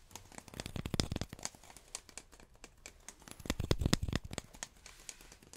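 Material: Cardboard.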